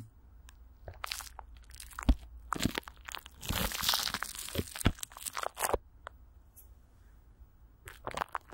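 Long nails and fingertips scratch and grip clear plastic wrap, with Vaseline, stretched over a hollow microphone grille. Bursts of crisp, bright crinkling and crunching come and go over a steady low rumble, with a few sharp thumpy grabs standing out.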